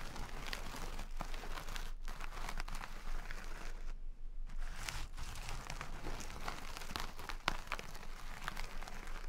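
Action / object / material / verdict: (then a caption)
scrape / jute sack of rice / jute, rice / none. Long red nails scratch and squeeze a small, full, soft jute burlap sack of brown basmati rice, the coarse fabric rasping as the grains shift inside. The result is a steady, dense crunchy scratching and crinkling with quick bright flicks, broken by a brief quiet pause near the middle.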